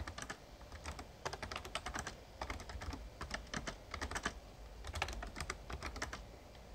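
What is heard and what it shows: Fingertips type continuously on a full-size, backlit plastic Razer Ornata Chroma mechamembrane gaming keyboard. Bursts of quick, bright, clicky keystrokes come in clusters over a steady low hum, with each click dying away almost at once.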